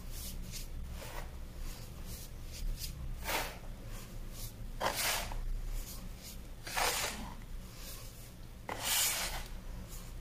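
Hands scoop, rub and sift a large heap of loose teal-dyed baking soda powder in a white plastic bin, letting it run through the fingers and then dragging the fingertips across the flattened surface. Soft, bright, grainy rasping bursts swell and fade irregularly over a steady low hum.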